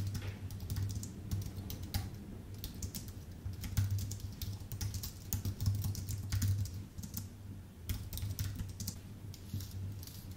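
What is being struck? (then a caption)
Aluminium keyboard with plastic keys. Fingertips type steadily on a full-size white Apple Magic Keyboard with an aluminium base and plastic keys, producing a continuous stream of soft, quick key clicks. A low, steady hum sits underneath the tapping throughout.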